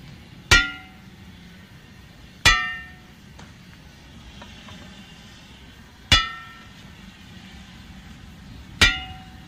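A steel steam locomotive wheel is struck four times with a control hammer at uneven intervals. Each blow gives a bright, ringing metallic clang with clear high tones that fade quickly. A low, steady background rumble sits beneath.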